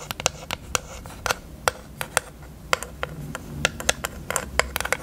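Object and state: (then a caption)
Plastic eyelash case. A small, hollow pink plastic eyelash case with lash trays is held open and tapped with long acrylic nails. About twenty quick, sharp clicks sound in an irregular rhythm, each bright and dry with almost no ring, over a faint low rumble.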